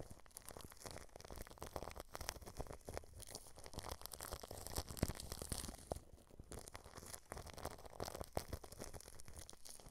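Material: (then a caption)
Plastic film. Paintbrush bristles press and brush across clear plastic cling film wrapped over a microphone grille. The result is a continuous, close crinkling and crackling texture, with many short crisp clicks over a heavy low-end rumble.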